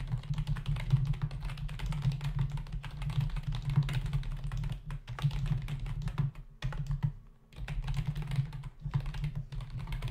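Fingertips of both hands type rapidly on a black plastic membrane desktop keyboard with hollow key caps. The result is a dense, steady stream of soft, low, thuddy key taps that die away almost instantly. The typing briefly stops just after the 6.5 and 7 second marks before continuing.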